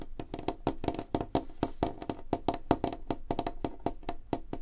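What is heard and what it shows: Fingertips and nails tap quickly on a light, solid wooden tabletop, making a rapid, uneven run of short, dry knocks. The knocks have a hollow woody tone centred in the low mids, with almost no ring and very little high end.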